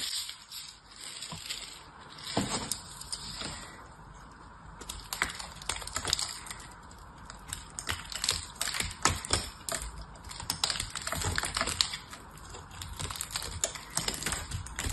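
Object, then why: Bar of soap. A small knife cuts and scrapes a solid oval soap bar with a textured, blue-painted surface, breaking off crumbly white soap chips. Dry, crunchy scraping and crackling bursts come in quick succession, bright and short with no ring, over a faint hiss.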